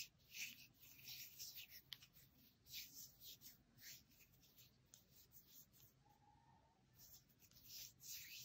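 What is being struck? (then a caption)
Bar of soap. A small, hand-sized rectangular bar of green soap with an embossed logo is held in the hands and scratched and rubbed across its surface with fingernails and fingertips. The result is quiet, dry, bright scraping strokes that swell and fade in repeated bursts, with a brief sharp tick partway through.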